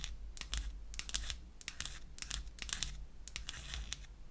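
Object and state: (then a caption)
Wooden lipstick case. Long acrylic nails scratch and tap the surface of a small, light wood lipstick cylinder with a cap seam, held in the hand. It makes a quick, irregular run of dry, bright scratches and clicks that stop short with almost no ring, over a steady low hum.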